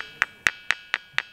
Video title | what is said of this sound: Exploring Kochi in Shikoku, Japan - Nature, Foods & Poodles | when you hit the rock it doesn't sound like a rock it sounds metallic